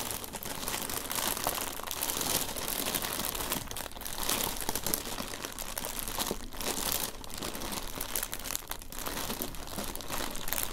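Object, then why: Thin tissue paper over a cardboard box. Fingertips with painted nails press, rub and crinkle thin pink-printed tissue paper lying flat over the contents of an open cardboard gift box, with both hands resting on it. A steady, dense crinkling and rustling runs for about eleven seconds, bright and papery with a soft low rumble beneath, swelling and easing slightly without clear separate hits.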